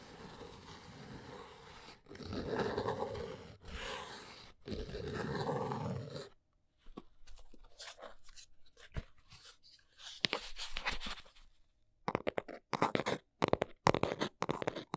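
Long nails scratch the top of a small brown cardboard box in dry, broadband rasping strokes with short pauses between them. The box is then lifted and turned in the hands, giving sparse crinkles, soft rubbing and sharp little clicks and taps.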